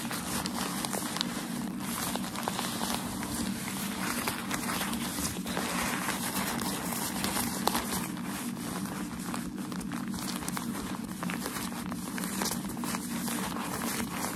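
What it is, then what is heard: Crumpled packaging paper. A sheet of thin, white, crumpled shoe-packaging paper, light and hollow-folded, is held in both hands while medium-length nails and fingertips scratch, tap and rub its creased surface. The result is a steady, dense crinkling and rustling with bright, crisp texture and small tapping clicks throughout, over a faint low hum.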